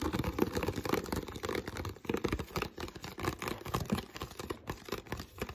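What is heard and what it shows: Fingertips of both hands tap and scratch an empty, hollow clear PET water bottle around its ribbed bottom. A rapid, continuous stream of short, dry taps mixes with scratchy crinkling of the thin plastic, with a hollow low-mid tone under the clicks.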